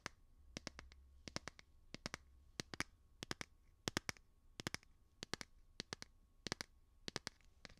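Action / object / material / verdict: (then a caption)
tap / plastic phone case on a smartphone / plastic / none. Fingernails tap the back of a light blue plastic phone case on a smartphone held beside the microphone. The sharp, bright clicks come in quick bunches of two to four, about 35 in all, each dying away almost instantly over a faint low hum.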